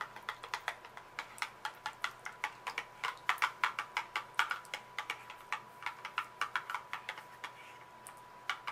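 Long acrylic nails tap quickly and steadily on the faces and edges of a small printed cardboard muffin mix box, which is hollow with its contents inside and held in one hand. About 44 short, dry clicks with a bright edge die away almost at once, with a faint steady tone underneath.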